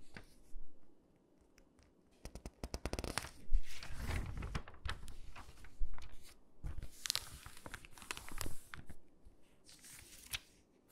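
Fingers pinch and crinkle the page edges of an open glossy paper catalog and rub across the pages with long nails. The result is bursts of crisp crinkling and scratchy rustling, broken by short quiet gaps and quick clicking ticks.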